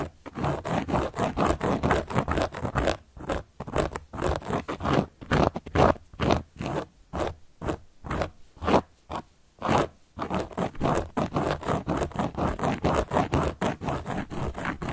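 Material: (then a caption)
Cork. A large, round, solid cork board is scratched with a carving tool held by long nails. Rapid, rasping scrape strokes repeat at a brisk, uneven rhythm, with dry, crackly texture centered in the low-mids. The strokes grow sparser and more separated in the middle stretch before returning to a dense, steady run.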